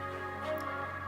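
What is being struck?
Nothing is struck.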